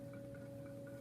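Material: Nothing is struck.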